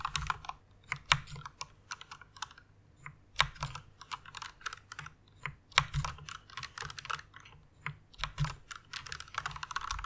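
Long-nailed fingertips type and tap on the keycaps of a full-size white plastic mechanical keyboard with red switches. Bursts of quick, bright clacks with a soft low thud beneath fade almost instantly, a steady patter broken by a few louder strikes and brief pauses.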